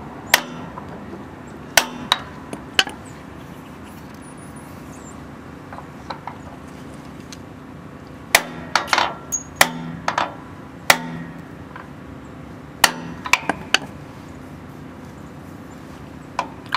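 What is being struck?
Steel seal driver struck by a steel hammer.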